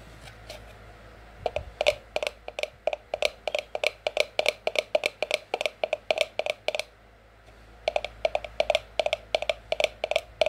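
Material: Cardboard.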